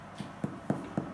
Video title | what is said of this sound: Part 3:- Making Sourdough Bread | the hollow sound I told you would let you know that it's ready